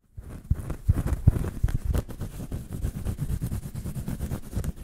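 A small, round, flat woven rattan coaster made of natural fibre is held in the hands and quickly scratched and rubbed with fingertips and nails. The result is a dense, irregular run of scratchy rustling and soft thumps, heavy in low tones, with louder scrapes standing out in the first two seconds.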